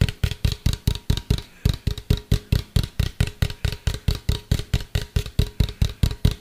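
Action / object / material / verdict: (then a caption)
tap / plastic cylindrical container / plastic / none. A medium hollow white plastic cylindrical container, tilted toward the mic, is tapped with fingertips and nails in a quick, fairly steady rhythm of 32 taps. Each tap is a short, deep, hollow thump with a faint bright click on top, dying away almost at once, with a light tonal ring under the taps.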